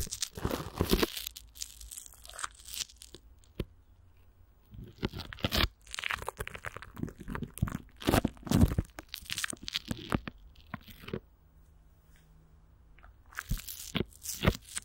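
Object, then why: Plastic film stretched over a microphone grille. Fingertips and long nails scratch clear plastic wrap stretched over a hollow microphone grille, with Vaseline, then a hand grips and rubs the film. Bursts of dry crinkling, crunching and scratchy tearing-like noise carry bright hiss over heavy low rumble and thuds. The rustling pauses into near silence twice before resuming.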